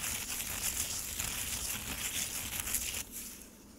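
Fingertips and nails scratch and rub the icy surface of frozen lemonade slush in a black plastic tray. A steady, bright, crackly crunching and crinkling runs for about three seconds, then drops to a quieter, duller scrape as it fades out.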